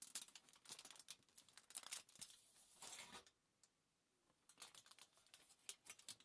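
Long nails and fingertips tap, scratch and rub a crumpled sheet of thin aluminium foil lying flat on a table. The result is quick, bright, crackling crinkles with almost no low end, and a short quiet gap midway before the tapping and rubbing resume.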